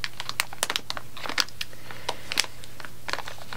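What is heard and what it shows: Long nails tap and scratch the surface of a blue plastic bag full of gummy candies lying flat on a table mat. The result is an irregular run of sharp, bright crinkly clicks and short scrapes over a steady low hum.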